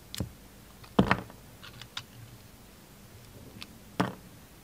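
A small solid pink bar of soap with a purple glitter edge is held in one hand and cut with a utility knife blade. The blade makes short, crisp scraping cuts through the soap, with quiet pauses between them. The strongest cuts come near the start and end.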